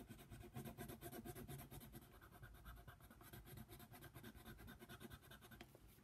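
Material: Paper.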